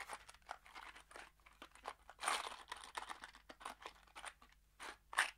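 A small kraft cardboard box holding screws is shaken in one hand, giving a rapid series of dry, crunchy rattles as the screws slide and knock inside. The bursts are bright and papery with almost no low end, with louder shakes around the two-second mark and near the end.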